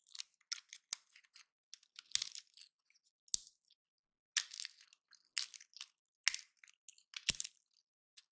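A small, hand-sized, dry and solid woody pine cone painted gold is held in both hands while fingertips and nails rub and pluck its scales, with silver cones sitting untouched nearby. Quiet, bright crackling scratches and crisp clicks come in short, irregular bursts, with a few sharper snaps standing out. Each sound stops almost instantly, leaving brief silences between them.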